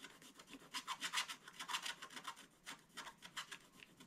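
A wooden scratching stick is rubbed and scraped repeatedly across the black coated area of a flat, wax-coated scratch-art book page. It makes a dry, raspy scratching in a quick series of short strokes, bright and high with almost no low end, each stroke fading almost at once.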